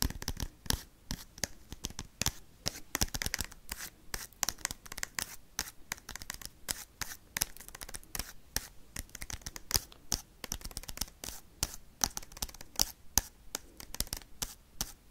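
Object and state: Foil card pack scratched and tapped.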